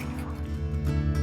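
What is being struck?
Nothing is struck.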